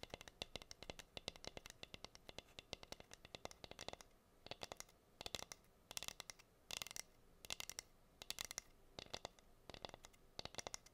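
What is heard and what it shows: Long nails scratch and tap on a plain, flat, solid wooden heart-shaped cutting board with a hole in it. Rapid, bright clicks and dry scratches come in quick bursts with short pauses, each tap dying almost at once.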